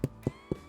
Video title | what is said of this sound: Wood Fired Oven Bread - No Knead bread Recipe | Nice hollow sound, that's what we're looking for.